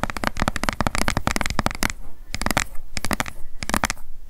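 Long acrylic nails tap and scratch rapidly on the sides of an upright, hollow, light blue plastic sunscreen bottle held in both hands. Quick, dry, clicky taps with a low hollow thump run in a dense burst, then come in shorter clusters separated by brief pauses.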